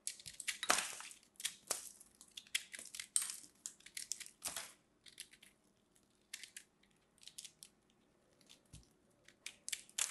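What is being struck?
Soap ball.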